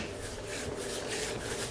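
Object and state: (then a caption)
Car paint with bonded contaminants, rough. A hand rubs over an untreated area of car paint with bonded contaminants, producing a steady, gritty rasping scrape with bright hiss across the whole clip. The rough, grabbing texture shows the contaminants still on the surface, unlike the clay-barred area below.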